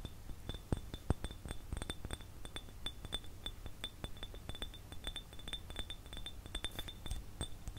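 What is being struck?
Ridged glass jar.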